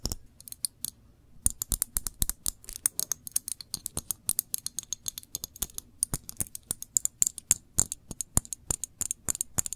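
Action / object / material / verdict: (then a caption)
tap / glass jam jar / glass / none. A full glass jam jar is turned in the hands while long nails scratch and tap its glass body and bottom. The result is a rapid, uneven stream of sharp, bright clicks and taps with dry scratching between them, pausing briefly near the start. Each tap stops almost instantly with no ring.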